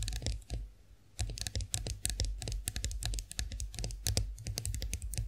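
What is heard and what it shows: Long acrylic nails tap rapidly on the smooth handle of a chrome-finished face roller standing upright. Crisp, bright clicks with very short decay come in quick, uneven bursts over a steady low hum. Tapping pauses briefly near the start, then resumes and continues steadily to the end.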